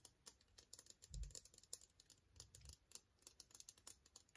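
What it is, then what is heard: Clear plastic case. Fingernails tap along the length of a long, slim, transparent hard plastic case that is hollow and empty. The result is a quiet, steady run of many short, bright clicks, with two soft low thumps near 1.2 and 2.6 seconds.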